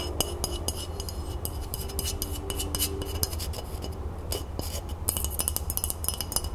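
A flat rectangular glass decorative tray with a printed crown design, its frosted underside bearing a lace print and label, is held tilted above a wooden table and scratched and tapped with long natural nails on a hand wearing a large ring. Rapid, bright clicks and short glassy taps ring near 2.9 kHz over a steady scratching hiss. A constant low hum sits underneath.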